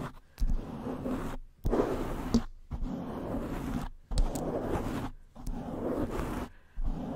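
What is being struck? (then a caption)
Foam microphone windscreen. Long nails and fingertips of both hands scratch and rub the black foam cover wrapped around an upright black cylindrical condenser microphone. Six bursts of close, scratchy rustling and muffled rubbing, heavy in the low end, are separated by brief near-silent pauses.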